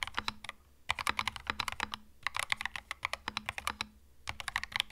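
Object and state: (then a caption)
Mechanical keyboard with plastic keycaps. Fast fingertip typing on a compact cream mechanical keyboard with plastic keycaps gives bright, crisp clicks that die away almost at once. The keystrokes come in rapid bursts separated by short pauses, with little low-end weight.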